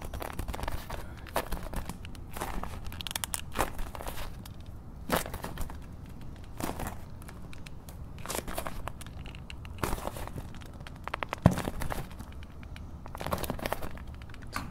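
A medium, translucent frosted plastic cylindrical container or tumbler, hollow and apparently empty, is held in both hands while short-nailed fingertips tap and scratch its sides. The result is soft, crinkly bursts of scratching and quick, dry taps that flare into bright hiss, over a steady low rumble. One sharper, louder tap stands out near the end.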